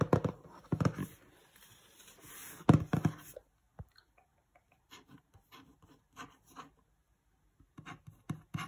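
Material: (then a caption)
Cardboard. Fingertips rub and scratch a glossy printed cardboard box for Christmas lights, first on its side and then on its front. A dense, hissy scraping with dull low thumps fills the first few seconds. It gives way to sparse, short, dry taps and scratches separated by silence, which grow a little louder at the end.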